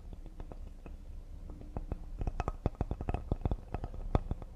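Fingertips of one hand tap quickly near the edge of a solid cedar serving board with a knot in the grain. Soft, dull, low knocks come in a rapid, uneven series, each dying away almost instantly. The taps grow firmer and more distinct in the second half.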